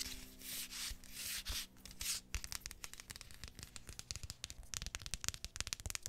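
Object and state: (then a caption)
Flip-flop sandal sole scratched with fingernails. Long painted fingernails rub and scratch the footbed of a single tan flip-flop sandal with a thin strap and a flat, solid synthetic sole, held close to the microphone. Slow, breathy, hiss-like rubbing strokes in the first two seconds give way to a quick run of sharp, dry scratches and taps that stop dead with no ring. The sound is quiet and mostly bright, with a little low thump under the strokes.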